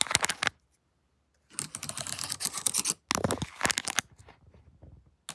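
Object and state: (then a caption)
Plastic laptop keyboard. Long nails fitted with paperclips tap and scratch across a plastic-keyed laptop keyboard, giving bright, clicky taps in quick bursts with a short silent pause early on. The sound is sharp and high-pitched with almost no ring after each tap.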